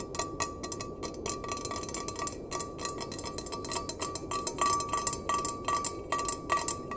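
A small empty stainless steel mug has its bottom and sides tapped and scratched with fingernails. Quick, irregular bright clicks land over a soft scratchy hiss, with a faint metallic ring near 1.1 kHz after some taps.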